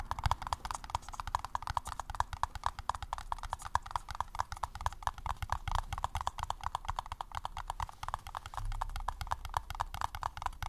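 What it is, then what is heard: Paper cup tapped. A paper cup is tapped in a rapid, steady stream of hollow, clip-clop-like taps. Each short, dry tap carries a mid-pitched tone around 950 Hz over a soft low thump, and the taps keep going without pause to the end.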